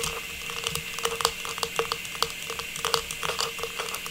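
A small, hollow, faceted silver metallized plastic star tree topper is held in both hands and tapped and scratched with long pink nails. A quick, irregular run of light, bright clicking taps sits over soft scratchy rustling, with a faint steady tone near 460 Hz underneath.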